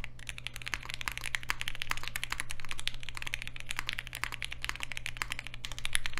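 Continuous two-handed fingertip typing on a Polaris 60% mechanical keyboard with Alpaca switches, a green aluminium case and black plastic keycaps, resting on a desk mat. The keystrokes are rapid, short, bright clacks that overlap into a steady patter, with a constant low hum underneath.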